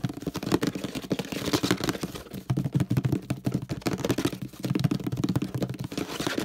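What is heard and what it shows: Fingertips tap rapidly on the handle area and base of a hollow orange plastic detergent bottle. The result is a dense run of quick, dry taps with a hollow, low-pitched body and short, crisp clicks that die away almost at once.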